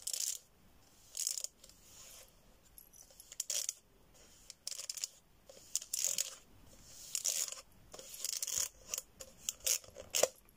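An empty, hollow cardboard tube about 30 cm long, held in both hands, is tapped and scratched along its surface with long red-painted nails. Short, bright scratching bursts alternate with quiet gaps, each carrying a faint hollow tone around 520 Hz that dies away almost instantly.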